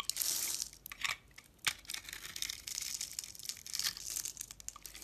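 A box-cutter blade shaves a hand-held lilac bar of solid soap, pre-scored into a grid, into small cubes. The cutting and scraping make dry, crisp crackles and crunches in bright, rapid bursts with almost no low end, and each one cuts off quickly.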